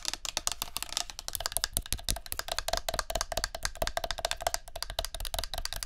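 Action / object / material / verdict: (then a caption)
tap / plastic spray bottle / plastic / none. A tilted plastic body mist spray bottle is tapped and scratched with long nails on its label and clear plastic. Quick, dry clicks and taps come in a fast, steady stream, with a hollow tone near 690 Hz, bright scratchy texture, and no ring after each hit.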